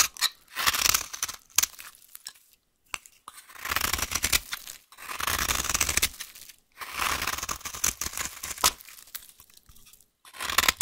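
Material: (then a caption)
Soap. A solid, dry green vintage soap bar held in the hand is carved with a utility knife blade. The blade makes bursts of bright, crisp scraping and crunching that break off into short flakes, with brief silences between passes.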